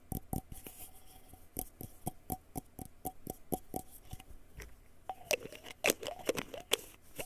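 Fingertips and nails tap and scratch the printed paper label and cap of a small white plastic pill bottle held sideways. A steady run of quick, dry clicks with a faint hollow ring gives way to louder, brighter scratches and rubbing squeaks toward the end, each sound dying away almost instantly.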